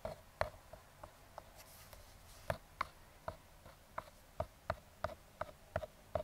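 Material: Cardboard.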